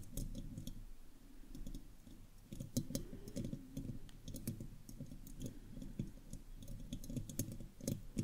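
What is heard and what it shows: Long acrylic fingernails of both hands scratch and tap on the hollow, round metal mesh grille of a studio microphone. Rapid, dense clicks and taps come with a boomy, low-heavy resonance around 110 Hz, short bright ticks on top, and soft scraping between them. Each tap dies away almost at once.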